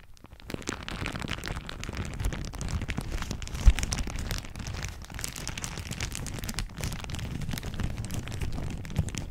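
A thin floral plastic shower cap is crumpled with both hands over the top of a microphone, stretched back over it, and crinkled with the fingers. The result is a steady, dense crackle with a heavy low, muffled rumble and faint bright rustle, plus a sharper, louder pop near the middle.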